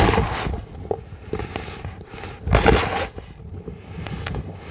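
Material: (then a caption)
Baking soda. Fingertips and palms of both hands rub, press and crush a tray of dry, solid pink-dyed baking soda, both loose crumbles and compacted powder. The result is a steady gritty scraping and crunching with sharp crackly bursts, peaking in a loud crush about two-thirds of the way through.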